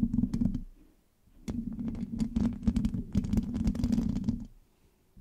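Long nails scratch and rub the rounded, hollow metal mesh grille of a black microphone with both hands. The result is bursts of dense, low, rumbling scrapes with a steady hum-like tone, briefly pausing in between.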